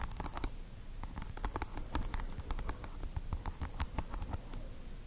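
Long acrylic nails tap quickly on the hard plastic pearl beads glued over green tape on a small microphone. The result is a rapid, uneven run of sharp, bright clicks and ticks over a steady low rumble.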